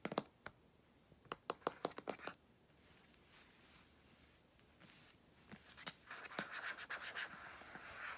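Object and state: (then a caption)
Aluminium laptop lid. Fingertips and nails tap and scratch across the lid of a closed grey aluminum MacBook lying on a bedsheet, its thin, flat, mostly hollow body giving a light, hollow response. Short, sharp taps come first, then soft, hissing scratches sweep across the lid, ending in a rougher run of scratching mixed with quick taps.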